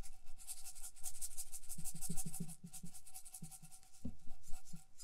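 Long nails rub and scratch across a small hollow metal cup covered in colourful beads, held in one hand. The result is a steady, bright, gritty scratching, dotted with soft, low clicking taps, that briefly dips quieter before picking up again.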